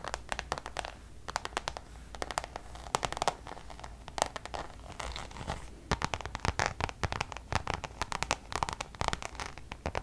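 Long nails on several fingers tap and scratch across a Louis Vuitton coated-canvas designer pouch. The result is rapid bursts of crisp, bright clicks and dry, scratchy rasps that die away almost instantly, over a steady low hum.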